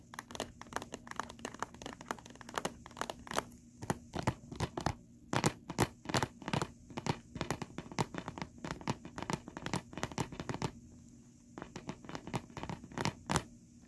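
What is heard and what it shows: Fingernails of both hands tap and scratch a flat, hollow plastic DVD case with a printed cover insert lying on carpet. Rapid, dry, crisp clicks and scrapes come in quick bursts with short pauses, each dying away almost instantly. A faint steady low hum sits underneath.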